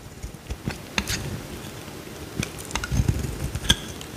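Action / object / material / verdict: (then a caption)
scrape / bar of soap cut with a metal blade / soap / none. A metal utility knife blade carves a small, solid, cream-colored bar of soap held in the hand, chipping flakes off. Short, crisp scraping ticks and clicks with bright edges come at irregular intervals over a faint low rumble, each dying away almost instantly.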